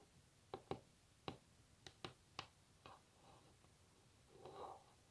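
Long natural nails rapidly tap a solid varnished wooden tabletop, giving seven sharp, dry clicks with almost no ring, spaced unevenly over a quiet background. A softer, longer, midrange sound swells near the end.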